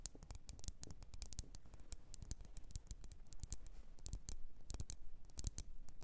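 Long orange-red nails tap and scratch the glass sides of a lit, medium-sized candle in a red glass jar with white printed text, filled with wax and resting on a fluffy rug. Quick, quiet, crisp taps with bright clicky edges and a soft low body come in rapid, uneven bursts, mixed with faint scratching.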